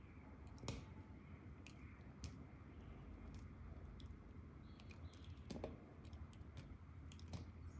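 A metal knife blade scrapes and slices thin shavings off the face of a round, solid, translucent orange glycerine soap bar with a spiral-carved core, held in one hand, and the shavings collect beside it. The result is a quiet, steady series of soft, moist crackling cuts, dominated by low tones, with occasional brief bright clicks.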